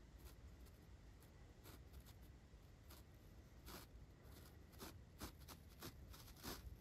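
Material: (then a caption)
Foam. A large paintbrush strokes a dark foam windscreen on a microphone from above and from the side. The result is a series of soft, breathy brushing swishes that flare into bright, airy bursts over a steady low rumble.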